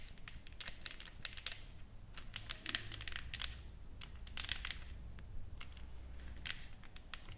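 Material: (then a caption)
Wood. Long nails scratch and tap across a solid, flat wooden plaque with engraved text and painted flowers. Quiet, crisp, bright clicks and dry crinkly scratches come in quick irregular bursts over a faint low rumble, each tap dying away almost instantly.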